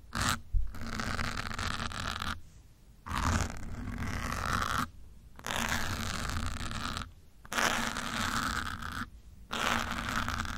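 A thin metal pin held between the fingertips scratches and pokes the surface of a grey foam windscreen on a black microphone. The result is dense bursts of close, rough scratching with a deep, rumbling low end, separated by several brief near-silent pauses.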